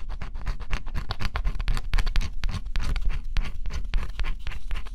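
A small stylus scratches the black coating off a flat, thin coated-cardboard scratch-off jigsaw puzzle in a rapid, steady run of short, dry strokes. Each stroke is a brief rasp that stops almost at once, with a low rumble underneath and faint bright edges.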